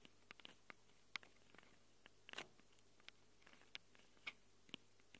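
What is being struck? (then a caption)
Handheld recorder with metal-ringed mic capsules. Long glitter nails tap and scratch the metal-ringed mic capsules of a small black handheld Tascam recorder, giving about fifteen quiet, sharp, bright clicks with faint scratchy rustles between them. Each tap stops almost instantly over a soft, steady low hum.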